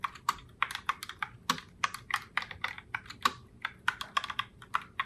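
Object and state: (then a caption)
Plastic mechanical keyboard. Fingertips with long nails type continuously on a pink Logitech Pop Keys mechanical keyboard with round plastic keycaps. About 27 quick, sharp clicks sound over five seconds, each with a bright plastic clack centered near 1.1 kHz. Each click dies away almost instantly, with little low end.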